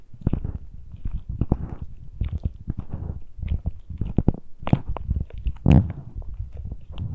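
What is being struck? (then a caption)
Metal mesh microphone grilles on a handheld recorder. Fingertips and nails scratch and touch the uncovered metal mesh grilles of the small X-Y microphone capsules on a handheld Tascam recorder. A dense run of short, close scraping and tapping bursts comes through as heavy, muffled low-end thumps and rustles, with a louder, longer rasp near the end.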